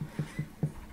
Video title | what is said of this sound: How to INSTALL a SCREW into a WALL (anchor) drywall | knock on the wall listen for that solid sound